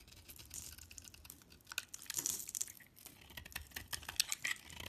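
A utility knife blade scrapes crumbly shavings off a solid oval Fa bar soap with a dark shimmering coating and an orange core, held in the hand. The result is a dense run of dry, crisp scratching and crackling ticks, mostly bright and high with very little low end, rising and falling in quick bursts.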